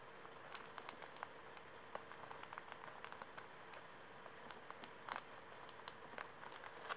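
A full, small, soft pocket tissue pack in thin plastic film is held in the hands while fingers squeeze and crinkle it and nails tap and scratch the wrapper. The result is quiet, with many sharp, short, bright crackles and ticks that stop almost at once, scattered irregularly over a steady soft hiss and a faint low steady tone.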